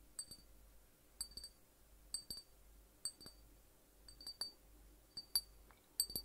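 A small, hollow glass drink bottle with an orange and yellow label, partly filled with liquid, is held up and tapped with the fingertips around its neck and cap. Short pairs and clusters of quick, bright clinks ring out with a high glassy tone. Each tap fades almost at once against a quiet background.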